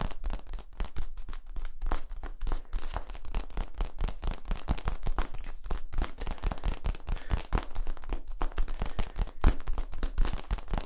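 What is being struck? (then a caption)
Ribbed plastic tube. Fingers scratch and tap the ridges of a long, hollow, yellow corrugated plastic tube held horizontally between the microphones. The result is a dense, steady stream of quick, dry, crackly taps with a strong low thump under each and almost no ring.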